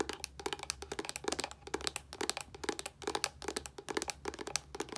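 Fingernails tap quickly along an Olay plastic body wash bottle with a yellow cap. The result is a rapid, uneven stream of short, dry clicks with bright, crisp tops and a light hollow plastic knock, each dying away almost instantly over a faint low hum.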